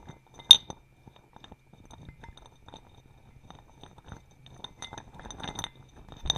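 A small clear glass bowl, partly filled with acorns, is held at face height and tilted and shaken so the acorns roll and clink against the glass walls. A sharp, bright clink with a short ring near 3.6 kHz opens the clip, followed by scattered soft ticks and light rattling that grows busier toward the end and closes with another bright clink.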